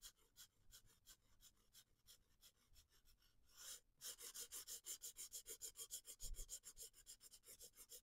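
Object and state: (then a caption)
Marker coloring on paper. A felt-tip alcohol marker, held by a hand with long painted nails, rubs and scratches across the page of a spiral-bound paper coloring book lying flat on a wooden desk. About thirty quick, bright, scratchy back-and-forth strokes are heard: softer at first, then a short hiss and brief pause before the strokes come louder and brighter. The strokes stay quiet and close.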